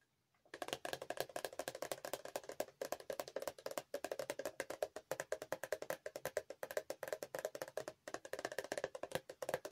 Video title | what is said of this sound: ASMR ✨ Products I've Used Up 🍓 Show & Tell ☕ | I'm going to be tapping on empty bottles and containers and they make different sounds when they're empty